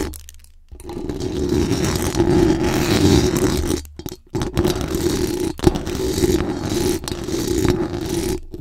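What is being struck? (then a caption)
Metal mesh microphone grille. Very long acrylic nails scratch fast and aggressively across the hollow metal mesh dome grille of a large condenser microphone. After a brief quiet start, a dense, rough, continuous scraping swells in with a strong low-mid rumble and a faint bright hiss. It breaks off briefly near the middle, then resumes just as busy to the end.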